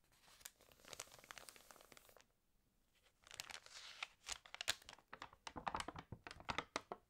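An open, water-damaged glossy paper fashion magazine has its pages rubbed and turned by the fingers. Its stiff pages make bright, dry crinkling and crackling. A brief quiet pause comes early on, then denser, sharper crinkles follow.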